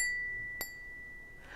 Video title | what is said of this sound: Glass engraving tutorial for beginners, Hand glass engraving Bee and Daisies - Part 1 | can you hear that it's got a lovely lovely ring